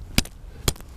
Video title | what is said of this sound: Tips and tricks to stay safe on the ice | see if it sounds Hollow in this case it sounds solid